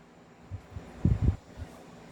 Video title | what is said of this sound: Review and Unbox of M4A1 Daniel Defense and The God Father | Walang kalog. Kasi nga, naka-fix outer barrel. Kalugin natin. Hindi siya kumakalog, naka-fix outer barrel.